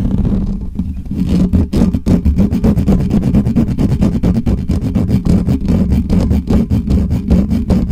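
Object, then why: Metal mesh microphone grille. Both hands scratch and rub the hollow metal mesh grille of a black Blue Yeti microphone with nails and fingertips. After a quieter first second, fast, rough scratching builds into a dense, rhythmic run of rumbling strokes that stay heavy in the lows, with little brightness.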